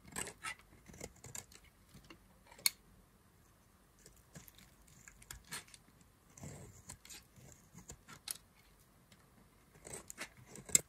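A hand-held, solid white rectangular bar of dry soap is scraped and carved with a black knife blade, producing crumbly shavings. Short, dry, bright scraping and crunching bursts come at irregular intervals over quiet gaps, with a couple of sharper clicks standing out near the middle and at the end.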